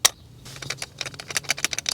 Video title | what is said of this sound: 2003 Ford Explorer - Crank No Start! P0232 Fuel Pump Secondary Circuit Check This First! Innova 5610 | You can hear it rattling.